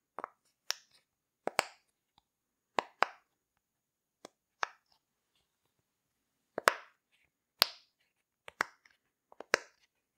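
Fingertips push the bubbles of a rainbow heart-shaped silicone pop-it fidget toy through, one after another. The result is a series of short, sharp, snapping pops with a bright crack and almost no ring, often coming in quick pairs, spaced unevenly across the clip with quiet gaps between them.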